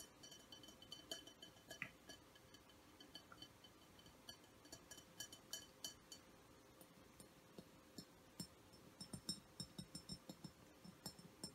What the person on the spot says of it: soft glass tapping